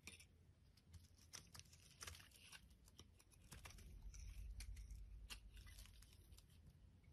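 A solid white bar of soap is shaved with a metal utility blade into brittle flakes, making quick, crisp scraping and crunching strokes with a bright crackle. The strokes repeat fast and somewhat unevenly over a steady low rumble, and each flake breaks off with a short, dry snap.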